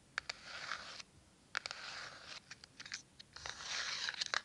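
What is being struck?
Cardboard matchbox with matches inside.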